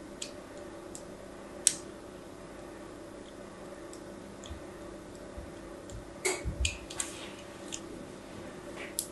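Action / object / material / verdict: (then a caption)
scrape / soap bar / soap / none. A fine craft-knife blade scores a grid of shallow lines across a solid rectangular pink soap bar with an embossed logo, held in the hand. About ten quiet, crisp, bright scratching ticks are heard at uneven intervals over a low, steady background hush, with a small cluster of them near the end.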